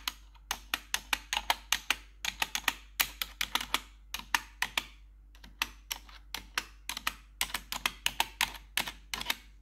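Long metal claw nails tap rapidly across the keycaps of a black plastic RGB backlit computer keyboard. The result is a quick, uneven run of sharp, bright clicks, each dying away almost instantly, with short pauses between clusters over a faint steady low hum.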